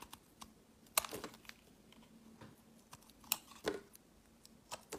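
A utility knife blade scrapes and shaves flakes off one face of a solid, translucent brownish-pink glycerin soap bar held in the fingers, piling the shavings beside it. Eleven short, sharp, bright scraping clicks and crackles sound over a quiet background, with the loudest strokes near the middle and end.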